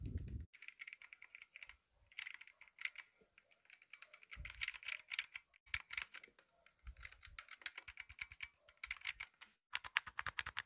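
Fingertips and nails tap and scratch the grip and trigger-guard area of a hand-held, hand-sized black polymer airsoft pistol with a hollow plastic body. Dense runs of quick, bright clicky taps dominate, with a light scratchy texture and a few soft low thumps, separated by short pauses.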